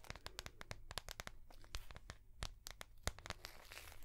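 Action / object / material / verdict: tap / soft plastic notebook cover tapped and scratched with fingernails / soft plastic / none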